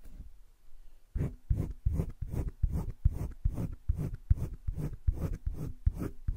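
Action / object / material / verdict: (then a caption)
scrape / colored pencil on thick drawing paper / paper / none. A hand scratches a green colored pencil over thick cream drawing paper in a spiral-bound drawing book lying flat, shading along a leaf outline. After about a second of quiet, a run of short, dry, low scratchy strokes follows in a steady back-and-forth rhythm.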